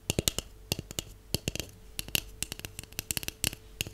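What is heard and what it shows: A hollow white cardboard tube with one open end is tapped along its surface with long acrylic nails and natural nails. About twenty quick, dry clicks come in irregular bursts, each bright with a hollow low body that dies away at once.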